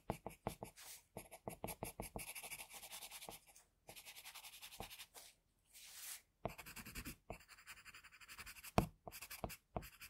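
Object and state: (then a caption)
Pencil scratching on drawing paper. A graphite pencil tip held in an extender scratches across a flat sheet of drawing paper bearing a sketch, with a tissue under the hand, in short hatching strokes. The sound is a rapid run of dry, bright scratching bursts with brief pauses between groups of strokes.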